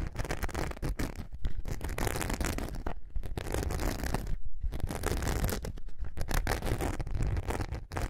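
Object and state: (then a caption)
Glitter foam craft sheet being scratched. Long nails scratch the glittery surface of a thin, flexible glitter foam craft sheet held curved in both hands. The result is a dense, rough, continuous scratching and rasping, heavy in low rumble. Brief pauses come around the third and fourth-and-a-half seconds.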